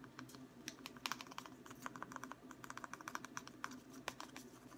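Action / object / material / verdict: tap / wooden ruler tapped with fingertips / wood / none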